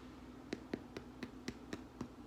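Seven short, dry, hollow taps on the crust of a freshly baked, still-warm rustic white bread loaf, each tap dying away almost instantly. The hollow sound is the usual sign the loaf is baked through, and it is baked, though its crust is split and the crumb near the bottom still looks slightly like raw dough from under-proving.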